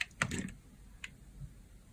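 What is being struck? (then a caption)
Bar of soap cut with a blade. A solid pale green bar of dry soap held in the palm has its surface layers scraped and sliced off with a blade. Short, crisp, bright scraping ticks cluster in the first half-second, with one more sharp scrape near the one-second mark and a faint low rustle in between.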